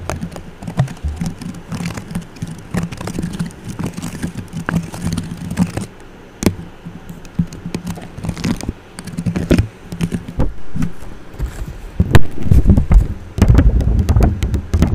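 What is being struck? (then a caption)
Metal mesh microphone grille. Long orange nails scratch across the top of a silver microphone's metal mesh grille, making dense, irregular scratchy clicks and taps heard close up with a heavy, muffled low rumble. The scraping comes in uneven bursts and grows louder and fuller in the last few seconds.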